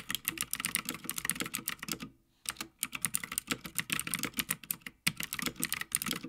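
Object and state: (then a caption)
Mechanical keyboard with plastic keycaps on a metal plate. Fingertips of both hands type continuously on a full-size backlit Havit mechanical gaming keyboard with plastic keycaps on a metal top plate. Rapid, bright, sharp clacks follow one another with almost no ring, broken by a brief pause near two seconds and a shorter one near five seconds before the typing resumes.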